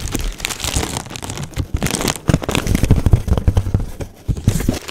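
A large sheet of clear plastic bubble wrap is held close to the microphone while fingertips pinch and pop individual bubbles. Steady crinkling of the plastic runs throughout, broken by many short, sharp pops with a low, thumpy body and almost no ring.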